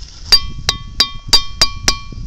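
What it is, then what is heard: Boulder that rings a little. A boulder at Ringing Rocks park, Pennsylvania, is struck six times with a hammer. Each strike gives a sharp clink with a slight metallic ring that fades quickly, and the rock rings a little.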